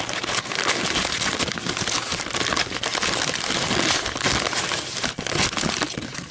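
Long metallic nails scratch, squeeze and crinkle a thin, empty, white fluted paper coffee filter as it rests on a table and is lifted. The result is a dense, continuous, bright crinkling and crackling at a steady level, with a brief dip just past the five-second mark.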